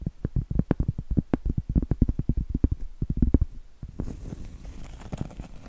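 Medium acrylic nails tap quickly on a round, flat, solid cork trivet, making a fast run of dull, low, short thuds with almost no ring. After a brief pause near the four-second mark, the nails scratch across the cork, giving a softer, steady, brighter rasp.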